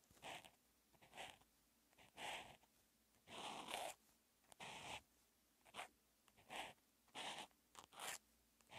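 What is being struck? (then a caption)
Felt-tip marker on a paper notebook page. A hand writes Chinese characters with a teal outline marker on flat grid-lined calligraphy practice paper. The felt tip makes a series of short, bright, scratchy strokes as it rubs across the paper, separated by brief quiet pauses.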